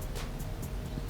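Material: Nothing is struck.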